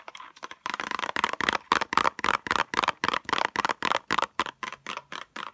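Long acrylic nails tap quickly on a small pink cardboard box with a clear plastic window holding metal tweezers. The result is a fast, uneven run of short, dry clicking taps with a bright, papery tone and almost no ring or low end.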